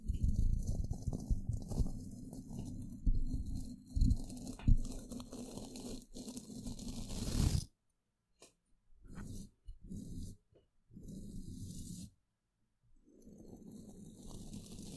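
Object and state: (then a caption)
Metal microphone grille brushed. A flat natural-bristle paintbrush brushes across a hollow metal mesh microphone grille from several angles. It makes dense, low, scratchy rustling and crunching strokes, continuous and loud for the first half. The sound then breaks into shorter bursts separated by silences.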